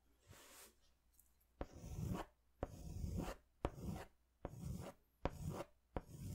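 A yellow crayon is scratched across a large paper sketch pad held upright, in long hatching strokes. Repeated rough, scratchy strokes with a low, rumbly body are heard, several starting with a sharp tick as the crayon meets the paper, separated by brief quiet gaps.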